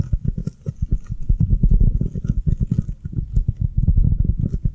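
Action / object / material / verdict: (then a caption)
tap / foam kitchen sponge / foam / none. Long nails tap and scratch rapidly on the avocado-print face of a round, avocado-shaped foam kitchen sponge held upright in the hands. The result is a dense, steady stream of soft, muffled, low-pitched thuds with very short decay and almost no bright content.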